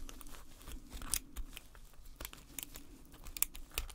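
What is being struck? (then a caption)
Painted plaster bar. Gloved hands scrape the chipped face of a solid gold-painted plaster bar, resting on a black base, with a metal pick, loosening plaster powder. Quiet, gritty scraping and crunching are broken by brief, bright clicks and ticks over a low, dull rumble.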